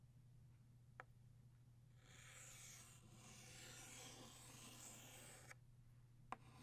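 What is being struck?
Chalk stick on a slate chalkboard.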